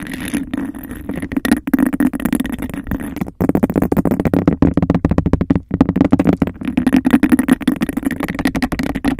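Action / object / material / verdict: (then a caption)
scrape / textured glass cup / glass / none. Long nails rapidly tap and scratch the patterned surface of a hollow, empty, hand-sized cup of textured glass. The result is a dense run of quick, dry clicks over a steady scratchy rasp, with a full low-mid body and almost no ring after each hit.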